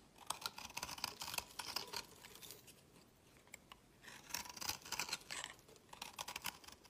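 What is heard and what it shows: A worn, pale green solid soap bar held in the fingers is scraped with a utility knife blade into crumbly flakes. The blade makes quick, bright, dry scraping rasps in two bursts with a quieter pause between them.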